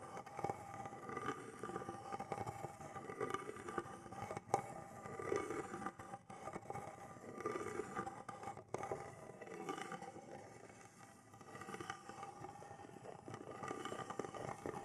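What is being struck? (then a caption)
Small carved wooden box. Fingernails scrape and tap across the carved relief and sides of a small, hand-held carved wooden box that appears hollow. The result is a quiet, continuous stream of scratchy scraping mixed with soft, dry taps, centered in the midrange with a faint hollow tone.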